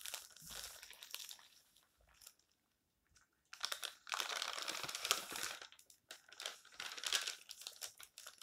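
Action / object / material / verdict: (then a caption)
scrape / thin paper magazine / paper / none. Fingertips rub the pages of an open, thin paper tabloid magazine lying flat, then lift and turn a page, crinkling it. Soft, bright rustling fades to near silence before louder bursts of crisp paper crinkling and rustling as the page turns.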